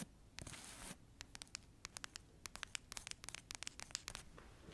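Long acrylic nails scratch the cover and page edges of a thick paperback novel. A brief bright, rasping scrape is followed by a quick run of about twenty sharp, high, dry clicks and scratches. The sound is quiet and close, with no ring after each hit.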